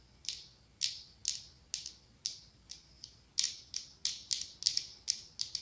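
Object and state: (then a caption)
Glass pumpkin candle jar tapped with nails. Long acrylic nails tap and scratch the ribbed glass body of a medium pumpkin-shaped glass candle jar filled with orange wax. The result is a series of about eighteen sharp, bright clicks with a high, glassy tone, each dying away almost at once. The taps come slowly at first, then bunch closer together toward the end.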